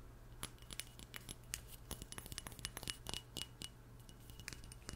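Long nails tap a small glass perfume bottle with an oval label and black cap in a quick, irregular series of light taps. They make short, bright, chiming clinks with a ringing tone near 2.9 kHz. The clinks sound quiet over a steady low hum.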